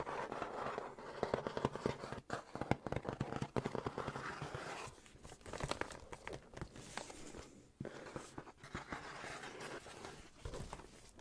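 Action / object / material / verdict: tap / cardboard shipping box / cardboard / none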